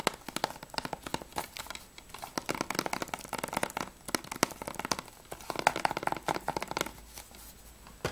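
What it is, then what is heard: Plastic game case. Fingernails tap and scratch the spine of a plastic Battlefield Bad Company 2 PS3 game case, then move to its back cover. The result is a rapid, uneven stream of short, dry plastic clicks and crinkly scrapes with bright edges and almost no ring, closely recorded.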